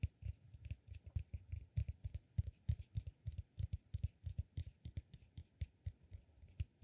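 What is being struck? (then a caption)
Cork peanut massage ball. Fingernails scratch and tap the upper lobe of a solid, peanut-shaped cork massage ball held upright. About 34 quick, dull, low-pitched taps come in an uneven rhythm with no ring. A faint dry scratching sits above them.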